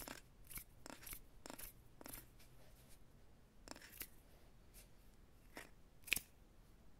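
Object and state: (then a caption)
Wooden rolling pin. Fingertips and nails tap and scratch the barrel of a light, solid wooden rolling pin with handles held on a lap. The result is soft, dry, bright taps and brushing scratches that die away instantly, with one sharper click near the end.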